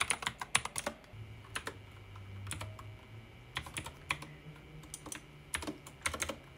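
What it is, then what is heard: Plastic mechanical keyboard. Fingertips type quickly on a pink backlit mechanical keyboard with plastic keycaps. The keys give bursts of sharp, bright clicks and clacks that die away almost instantly. A faint low hum sits underneath the quieter pauses between the flurries.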